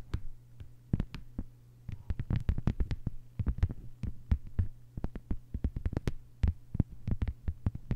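A thin, flat green plastic cutting mat lies on a table and is tapped and scratched with the long white almond-shaped nails of both hands. Sharp, quick clicks come in uneven bursts over a steady low hum, each tap very dry with almost no ring.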